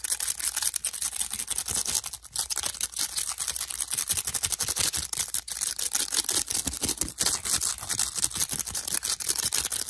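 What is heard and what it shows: Fingertips and nails quickly tap and scratch along the rims of a stack of hand-sized, hollow, lightweight yellow and pale green plastic discs with round holes. A dense, continuous stream of rapid, bright plastic clicks and scratchy ticks fills the clip, with almost no low end and each tap dying away almost instantly.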